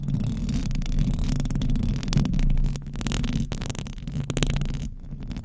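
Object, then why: Metal mesh microphone grille. Both hands with very long decorated acrylic nails scratch the hollow metal mesh grille head of a large silver Blue Yeti-type condenser microphone on a stand. The result is a dense, continuous low rumbling scratch, heavy and boomy with a steady hum-like tone and almost no bright content. The rumble swells and dips slightly in level throughout.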